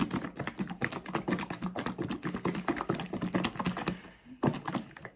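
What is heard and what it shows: A blue plastic Dr Teal's bath soak bottle with thick liquid inside is held in both hands and shaken. It makes a rapid series of dull, low thuds and wet clicks. The shaking eases briefly near the four-second mark, then one last strong burst follows.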